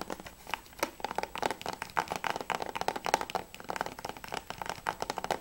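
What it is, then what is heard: Plastic game case. Fingernails and fingertips tap fast on the back surface of a closed hard plastic PS3 game case with a Spec Ops back cover, held upright. The sound is a rapid, uneven stream of short, dry clicks with a hollow plastic tone around 890 Hz. Each tap dies away almost instantly.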